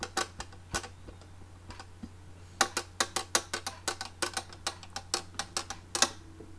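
Long manicured fingernails tap and scratch a small, hollow, closed red hard plastic makeup case with a ridged, embossed surface and a metal clasp on top, held in both hands. Sharp, bright, dry clicks arrive in an uneven run of about two dozen quick taps, sparse at first and then denser, over a faint steady low hum.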